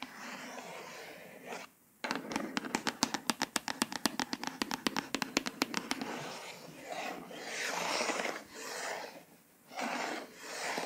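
A fast run of sharp, dry ticks gives way to slower, hissy scratching strokes, with no ring after any of them. Long nails are catching and dragging over the raised lettering of a firm hardcover. The room is quiet and close.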